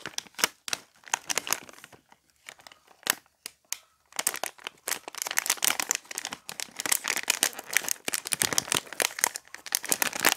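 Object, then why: Foil-laminated plastic snack bag. Fingertips grip, crinkle and rub a small printed foil-lined plastic snack bag of Taro Potato Barbecue chips, then tear the top open. Sharp, bright crackles come in sparse bursts with short pauses, then turn into a dense, continuous crinkling and rustling. Each crackle is dry and stops at once, with no low rumble.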